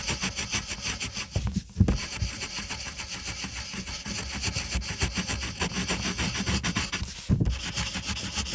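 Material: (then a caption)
Paper. A pink wooden colored pencil, held in the fingertips, scratches and rubs over a flat, thin white paper coloring page on a table while shading the letter O. A steady, dry, bright scratching runs throughout with soft low thumps, broken by brief pauses and louder bumps just before 2 seconds and around 7.3 seconds.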